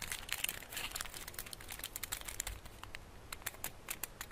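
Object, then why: Chocolate bar in metal foil wrapper. Fingertips rub, crinkle and pinch the edges of the crinkled gold foil wrapped around a solid rectangular chocolate bar. The result is a steady stream of quiet, bright, crisp crackles and rustles, each snapping off almost instantly, with a faint low rumble underneath.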